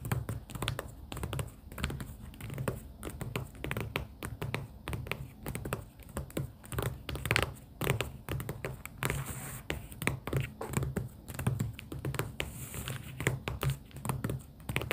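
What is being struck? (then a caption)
Paper sticky-note pad in a cardboard booklet. Long pink acrylic nails tap quickly and continuously on stacks of pastel paper sticky-note tabs held in a cardboard booklet. The result is a dense, steady patter of soft, short clicks and muffled low thumps, with light scratchy rustles and no voice.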